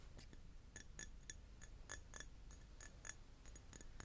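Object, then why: Glass object. A glass is tapped repeatedly, giving a quick, irregular series of soft, bright clinks. Each tap is a sharp, high click that dies away almost instantly over a faint low rumble.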